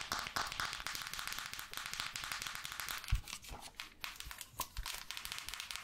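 Long nails scratch and brush across the cushioned bristle pad of a red plastic paddle hairbrush held in one hand. The result is a dense, bright crackling and rustling, broken by a few louder, duller taps partway through.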